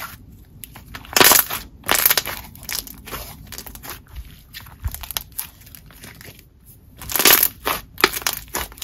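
A soft, solid, opaque lavender butter slime blob about the size of a palm is squeezed and pressed between both hands on a marble table. It gives off squishing and bright crackling sounds in uneven bursts, loudest around the first and seventh seconds, with quieter squelches between them.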